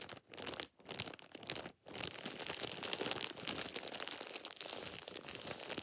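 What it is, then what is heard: Plastic shower cap being crumpled. A thin, light-green plastic shower cap is balled up and crumpled with fingertips and nails. Bright, dense crinkling and crackling comes in short bursts with brief pauses at first, then runs almost continuously. The sound is high and crisp, with very little low end.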